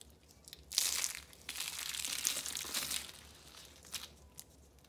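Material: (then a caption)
Soap. Pink, orange and green rolled dry soap-curl roses resting on orange paper are squeezed and crushed by a hand with long nails. Bright, dry crunching and crinkling comes in dense bursts, then fades to a few sparse crackles as the roses break into flakes.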